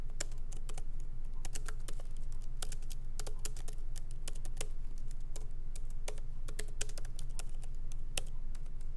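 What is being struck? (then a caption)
Laptop keyboard, plastic keys in metal body. Both hands type with their fingertips on a MacBook Pro laptop keyboard, whose plastic keycaps are set in an aluminum body, as the laptop rests on a wooden desk. Light, quick, bright key taps come at an uneven pace and die away at once. A steady low hum runs underneath throughout.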